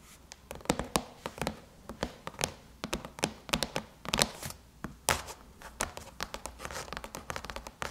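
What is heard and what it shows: Long chrome nails scratch and tap across the surface of a closed silver aluminum MacBook lid around the logo. The result is a rapid, irregular series of short, bright clicks and taps with very little ring, mixed with thin, dry scratching between them.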